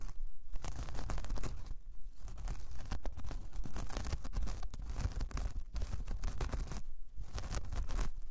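Long painted nails scratch across a large, flat, solid round coaster of braided jute or straw. The result is a dense, continuous rough scratching and crackling texture with brief pauses, heavy in low rumble and steady in loudness.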